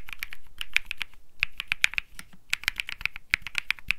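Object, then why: Mechanical keyboard with plastic keycaps. Fingertips type continuously on a cream Think 6.5 mechanical keyboard with Bsun Lollipop switches and plastic keycaps. It makes a rapid, uneven stream of short, sharp clacks centered around 2.4 kHz with bright tops and a soft low thump under each press. Each click dies away almost instantly.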